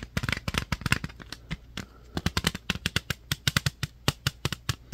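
A clear plastic jewel case with a DVD-R insert, held in both hands, is tapped and scratched with fingertips and nails. The result is a rapid, irregular string of short, dry plastic clicks and taps, each with a bright top and a soft low thump, that stop instantly without ringing, with faint scratchy rustle in between.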